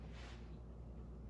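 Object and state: Nothing is struck.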